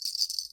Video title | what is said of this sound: "Snowing Awe" Memory Scrapbook with photos (sold, thank you) | it rings you can hear it